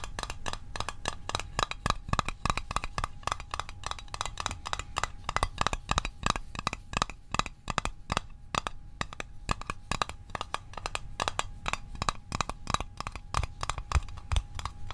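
A small, hollow, rectangular printed metal Altoids Arctic mint tin is held and tapped rapidly on its sides with the fingertips and short nails. The result is a fast, steady stream of short, dry clicking taps with a bright metallic ping near 1.2 kHz that dies away almost at once, over a low, steady rumble.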